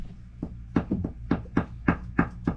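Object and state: Solid cast iron drain pipe.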